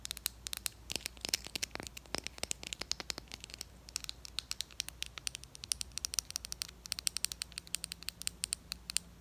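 Long acrylic nails tap and scratch around a small, capped, cylindrical plastic wet n wild stick foundation, beige with black print. A rapid, uneven stream of dozens of sharp, dry, high-pitched clicks and scratches is heard, with no ring after each tap, over a faint low hum.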